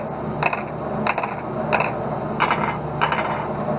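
A high-index plastic eyeglass lens is tapped to tell its material by ear, giving five short bursts of light, clicky taps with a brief ringing mid-pitched tone over a steady background hiss. The tone is the flatter, lower-pitched sound of high index, compared with the more tinny, higher sound of polycarbonate.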